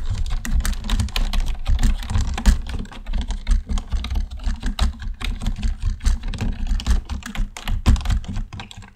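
Fingertips type on a black plastic computer keyboard, first with one hand and then with both. The clip is a steady run of quick, clicky keystrokes over a dull low thump, each tap dying away almost at once.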